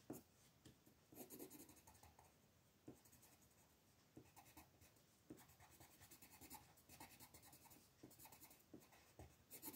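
A teal-barrel colored pencil scratches a flat paper coloring book page in small, quick strokes while the other hand holds the sheet. The result is a quiet, continuous dry scratching with bright, papery texture and frequent soft taps where strokes begin.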